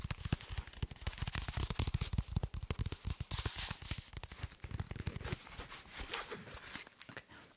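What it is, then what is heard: Soft body armor panel (fabric-covered). A black soft body armor panel with a fabric cover and solid, flexible layers is held up in front of the mic and tapped and scratched with fingertips and nails. Rapid, irregular, dull low thumps come with short crackly fabric scratches. Toward the end the tapping gives way to softer, scratchy rustling.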